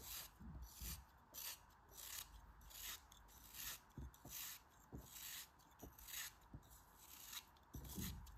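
A shrinking chunk of solid pink kinetic sand, shaped as a cone and held in the fingers, is sliced with a utility knife blade. Repeated gritty, crunchy rasping cuts come in short bursts with bright hiss and a low rumble underneath. Each stroke stops quickly between quieter pauses.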